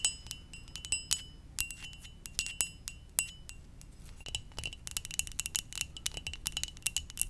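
A ceramic mug shaped like a Poké Ball is tapped gently, giving a series of bright, chime-like clinks with short, glassy rings. Sparse taps in the first few seconds give way to quicker, denser tapping toward the end.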